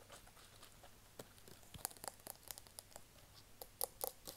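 Fingertips and nails tap and scratch a small, hollow white plastic cosmetic bottle with a label, held upright in one hand. Quiet, soft scratching runs throughout, broken by crisp, dry clicks with bright edges that come more often in the second half. Each tap dies away almost instantly, leaving no ring.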